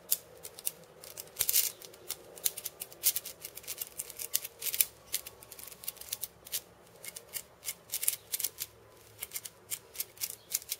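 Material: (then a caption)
Steel, wood. A cabasa with wooden rims and steel bead chains is tapped and scratched across the beads by fingertips and painted nails. The result is a quiet, irregular stream of dry, bright metallic clicks and short rattling scrapes with almost no low end.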